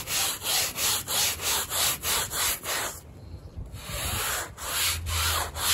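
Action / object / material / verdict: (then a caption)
scrape / woven textile rug scrubbed with a stiff-bristle brush / textile / none. A gloved hand scrubs a small, wet, foamy woven textile rug with a handheld stiff-bristle brush in long, straight strokes to clean mud off it. Each stroke makes a bright, hissing scratch-and-rub, repeating in a steady rhythm. The scrubbing pauses into a quieter, softer rubbing for about a second before the strokes pick up again.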